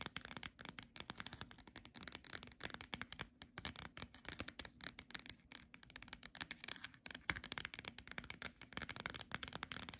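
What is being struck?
Paperback book with glossy cover.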